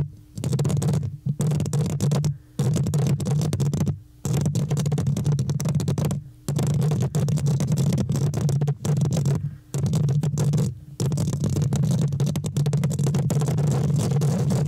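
Fingertips and nails of both hands scratch and tap the hollow metal mesh grille of a large microphone. The result is a dense, boomy rustling concentrated in the low end, with a droning tone near 156 Hz and faint bright crackle above. Several brief near-silent pauses break up the scratching.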